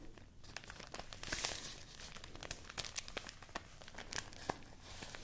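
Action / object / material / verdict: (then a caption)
scrape / sheet of rice paper / rice paper / none. A folded sheet of white rice paper, held in both hands, is crinkled and rubbed with the fingertips. It makes a dense, bright crackling rustle scattered with sharp, quick snaps and a few louder crunchy bursts throughout.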